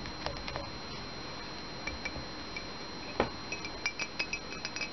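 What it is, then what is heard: Ceramic mug tapped with fingernails. An empty ceramic Minnie Mouse mug, held in the hand, is tapped on its body with fingernails. Eleven light, bright clinks with very short ring ring out over a faint steady hiss, spaced irregularly and coming faster toward the end.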